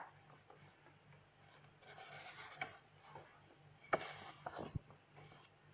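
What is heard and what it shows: Fingers with long nails flip the pages of an open lined paper notebook and rub across the paper surface, making soft, papery rustling and scraping over a faint low hum. Four sharp, bright ticks stand out as the nails catch the pages, and the clip ends in quiet rubbing.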